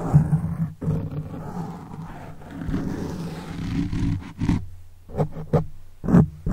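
Fingertips and short nails of both hands scratch and rub a soft, porous black foam windscreen on a silver microphone, producing a dense, low, rumbling scrape that sounds almost like a growl. Sustained rubbing gives way to several separate bursts of scratching toward the end.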